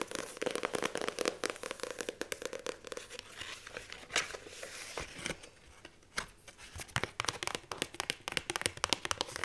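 Fingertips and long nails tap fast on the cardstock cover of a paperback book with a circular die-cut hole and a solid page block, then grip it. Rapid, dry, bright taps mix with crinkly paper rustling and scratching. The activity dips briefly before resuming in a quick flurry.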